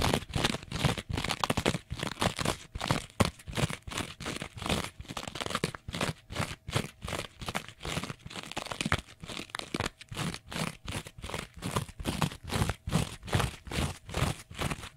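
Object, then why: Kitchen sponge with abrasive scouring pad. A small kitchen sponge, held flat, has its green abrasive scouring pad on yellow foam scratched fast with fingernails. Rapid, dry, crunchy scratching bursts repeat at a quick, uneven pace, about two or three per second, with a low thump underneath and a bright, hissy texture on top. Each stroke cuts off almost at once, with no ring.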